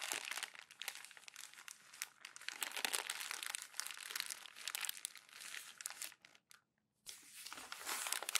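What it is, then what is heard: Glossy magazine paper being crumpled. Thin glossy magazine pages are gathered and pressed into a crumpled bundle with palms and fingertips, crumpled and rubbed together. Dense, bright crinkling and crackling runs almost continuously, drops to near silence for about a second, then resumes.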